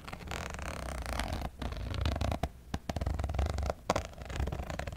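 Long metallic false nails scratch and crinkle a clear plastic zip pouch as it is held and handled. Continuous dense crinkling and scraping runs over a heavy low rumble, broken by a few brief quiet gaps and sharp clicks.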